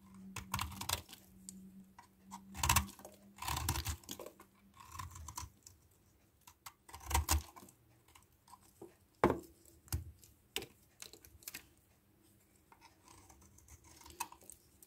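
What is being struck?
Small solid bar of soap shaved with a metal knife blade.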